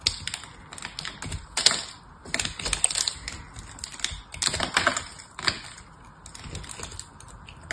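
A small, solid, foil-wrapped dry soap bar is held in the hand and cut and scraped with a small knife blade, breaking off foil and crumbly soap flakes. Bright, crisp crackles and quick clicky snaps come in irregular bursts, with short quieter pauses and almost no low end.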